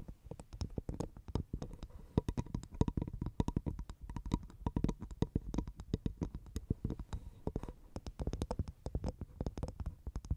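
Long painted nails rapidly tap and scratch the fibrous brown husk of a dry, hollow, empty half coconut shell placed over the microphone. The result is a dense, uneven stream of short, dry, hollow knocks with a deep low thump, mixed with soft scratching. Each tap dies away almost instantly with no ring.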